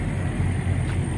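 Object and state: Nothing is struck.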